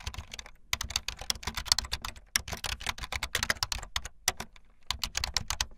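Fast typing on a full-size backlit plastic Bluetooth membrane keyboard with white and blue plastic keycaps and a hollow plastic body, the keys pressed with fingertips and the tips of long painted nails. It makes a dense run of bright, short plastic clicks and clacks with a light hollow thud beneath, broken by a few brief pauses.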